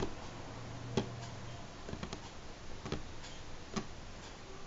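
Natural fingernails on both hands tap slowly and sparsely on a solid, light pine-grain wooden tabletop, giving five short, dull ticks spaced about a second apart. Each tap dies away almost at once over a soft, steady low background hum.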